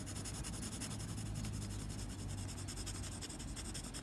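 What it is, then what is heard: Pencil shading on drawing paper. The graphite tip of a blue mechanical pencil rubs and scratches across a flat white drawing paper sheet in dense shading strokes. A quiet, steady scratchy rasp with a bright, hissy edge pulses with the rapid back-and-forth strokes over a low, constant hum, continuing without pause.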